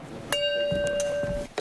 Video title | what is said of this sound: Experiments You Should NEVER Recreate - MythBusters: There's Your Problem - Science Documentary | If you flick it, now hear how that rings. I mean, it sounds almost like the ring has a kind of curve to it.